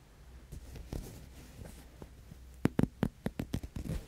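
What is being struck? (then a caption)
Synthetic faux-fur blanket. Fingertips and nails rub and scratch across the pile of a large, soft synthetic faux-fur blanket with a leopard print, spread out in folds. Faint, low, muffled rustling gives way in the second half to a quick series of sharper, louder scratching strokes with almost no ring after each.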